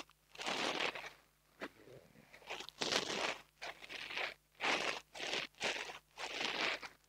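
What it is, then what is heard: Foam microphone windscreen. A long fingernail scratches and rubs a small black foam microphone windscreen held in the fingers. It makes a series of dry, bright, crunchy scratching bursts separated by short pauses, with a faint steady low hum underneath. Some rubs are softer and quieter than others.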